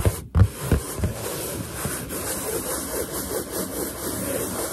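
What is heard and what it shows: Fingers and nails rub and scratch a large, hollow, inflated white latex balloon. A few soft thumps open the clip, then a steady, low, rumbling friction sound continues with faint high hiss above it.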